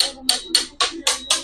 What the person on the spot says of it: Hindi naman ganyan ang tunog ng kahoy, no?